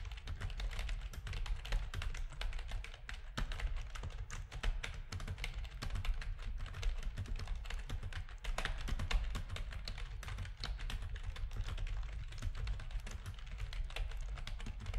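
Fingertips of both hands type steadily on a full-size black plastic RGB-backlit keyboard with a hollow plastic housing, resting on a desk. The result is a continuous stream of rapid, short key taps with a heavy low thud beneath lighter clicky tops, each tap dying away almost instantly.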